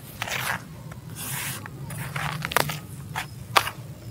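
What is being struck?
Sand-cement crumble in a plastic tub.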